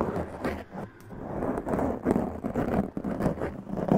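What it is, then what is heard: Foam microphone windscreen being scratched. Long press-on nails scratch a black foam windscreen on a large condenser microphone with both hands. The result is a dense, continuous, muffled scraping and rustling, weighted toward the low and middle range with almost no bright top, swelling and dipping in uneven bursts.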